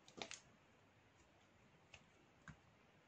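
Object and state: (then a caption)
Black soap bar being shaved. A metal knife blade shaves a small solid piece of black soap held in the fingers. Five short, crisp, bright scraping clicks are heard: three in a quick cluster at the start, then two single clicks spaced apart. Each fades almost instantly against a quiet background hiss.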